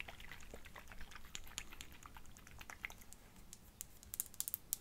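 Long fingernails tap and scratch a small glass perfume bottle, partly filled with pink liquid and topped with a faceted clear cap. Quiet, dry, bright clicks and light scraping sound over a low, soft rumble, with no ringing after each contact. The taps grow sharper and louder in quick succession near the end.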